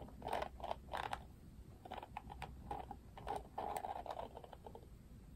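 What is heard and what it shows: Fingertips and nails strum across the thin pink-tipped plastic bristles of an oval Barbie plastic detangling paddle hairbrush with a black cushion, held up in one hand. Quiet, dry creaky ticking comes in rapid clustered bursts, centered in the midrange with brief bright flicks, and fades quickly between strums.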